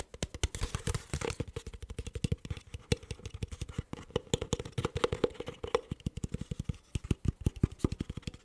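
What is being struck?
Thin ridged plastic bottle.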